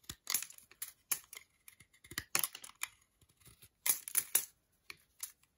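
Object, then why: Milk chocolate bar scraped with a metal blade. A metal utility knife blade scrapes across a segmented solid milk chocolate bar held in the hand. The clip is a series of short, dry, bright scratching and tapping bursts at an irregular pace, with quiet gaps between them and almost no low end or ring.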